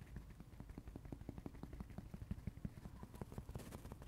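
Fingertips scratch and rub the porous blue cellulose side of a dry kids' sponge with a yellow foam side, held in the hands. A rapid, irregular run of short, dull, low-pitched scratching bursts repeats throughout, with a few sharper peaks in the middle.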